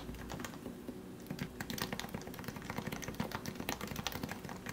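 Both hands type with their fingertips on a compact plastic Leopold FC660C Topre keyboard with lubed 45 g switches. The result is a quick, steady stream of short, muted keystrokes, each with a rounded low-mid thock and a light bright tick that fades almost at once. A faint low hum runs underneath throughout.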